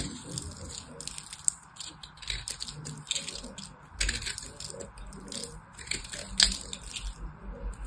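A small knife blade cuts into and crumbles the edge of a hand-size solid white soap bar. The result is a steady run of quiet, dry crunches and crisp scraping ticks, mostly bright and high with little low end, plus a few sharper snaps along the way.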